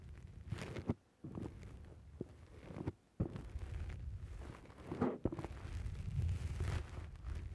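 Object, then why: Foam microphone windscreen. Fingertips press and pinch the soft black foam windscreen on a microphone. The result is dense, muffled low-end squishing and rustling with sharp thumps, broken by a few brief near-silent gaps.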